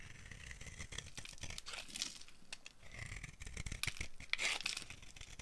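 A solid, dry, oval pink bar of soap with bead decorations, held in a palm, is carved with the blade of a yellow-handled utility knife, scraping shavings off its surface. A quiet, continuous run of dry, crisp scraping and crackling strokes with bright, brittle edges swells into a louder, sharper scrape near the end.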